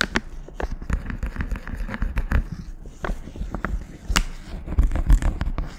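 A small, flat, pink printed guitar-string packet with a paper and foil sleeve is held in a gloved hand with long nails and crinkled and scratched close to the mic. Dense sharp crackles and brief scratchy ticks, some reaching bright highs, sit over a steady low rumble, with a few louder pops near the end.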